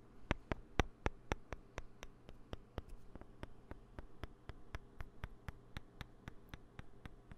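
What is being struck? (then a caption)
Poker chips. Poker chips on a desk, kept for dealing practice in a card-game class, are tapped or handled in a quick, uneven run of sharp, dry clicks. The clicks come at roughly four per second over a faint low background hum.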